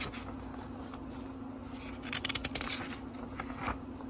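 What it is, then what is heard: Paper book pages turned. Fingertips turn the thin paper pages of a small, thick book, making soft rustles and crisp, bright flicks and riffles that bunch together in the middle of the clip. A steady low hum runs underneath throughout.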